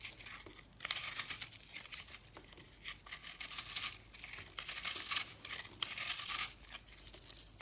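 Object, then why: Soap bar. A dark utility knife blade scrapes and cuts through a hand-sized, dried, solid yellow-orange soap bar with a dry, porous, crumbly surface, held in a hand with painted nails. The cutting makes dense, bright, crisp crunching and crinkling, rising in repeated scraping bursts. It has almost no low end.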